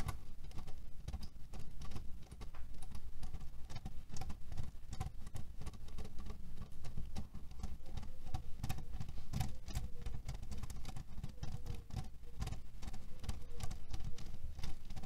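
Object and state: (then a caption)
Cherry pit pillow, fabric filled with cherry stones. Fingernails tap and scratch quickly on a cherry pit pillow, a cotton fabric pillow filled with cherry stones. The result is a dense, continuous patter of soft, muffled clicks and rustling rattles, with the sound weighted heavily toward low, dull thumps.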